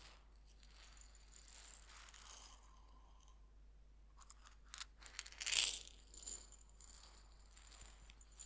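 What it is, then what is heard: Coarse salt shaken in a glass jar. A small glass jar about three-quarters full of coarse white salt, closed with a red polka-dot metal screw lid, is held in both hands by fingertips with painted nails and shaken and turned. The salt gives a quiet, bright, grainy rattle and crunch with short, quickly fading bursts. The loudest swish comes about two-thirds of the way through.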